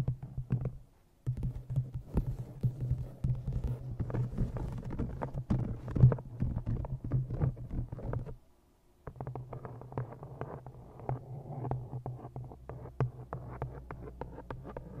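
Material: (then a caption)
Cloth and board. An old green cloth-bound hardcover book, held in front of a microphone, is tapped with fingernails on its bottom edge and cover. Rapid, dull, low taps with a deep resonance near 125 Hz run in dense bursts, with brief pauses around 1 second and 8.5 seconds. Each tap dies away quickly.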